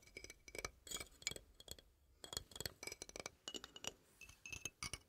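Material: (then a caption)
Metal. A small rainbow toy xylophone with painted metal bars on a wooden frame is held upright in both hands while fingertips and nails tap and flick the bars. The result is a quiet, irregular run of bright, high, glassy clinks that ring only briefly, with little low end.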